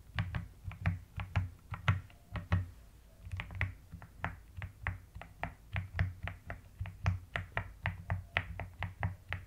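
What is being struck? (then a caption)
Plastic mechanical keyboard. A mechanical keyboard with a white case and pastel plastic keycaps is typed on in an uneven but steady run of short, separate clicks, with moments of long nails tapping and scratching across the keycaps. Each keystroke is a quick, bright tap that dies away fast, over a constant low hum.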